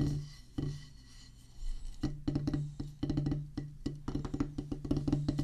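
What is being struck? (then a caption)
Rubber practice pad on a wooden base. Two wooden drumstick tips tap a solid black rubber practice pad on a wooden base. Scattered single taps give way to quick bursts of short, dull thuds with a low tone and a brief ring.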